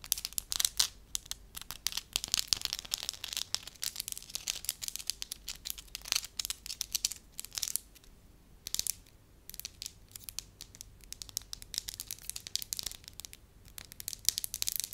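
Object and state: Soft wax sheet.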